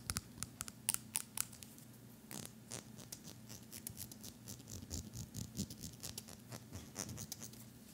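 A pink plastic hair comb, about 20 cm long, solid and thin, is held in one hand while fingertips strum and scratch along its fine teeth, with a sleeping puppy lying nearby. Quick, bright, dry ticks and scratches come in irregular bursts over a low steady hum, louder and sharper in the first second and a half, then softer and more continuous.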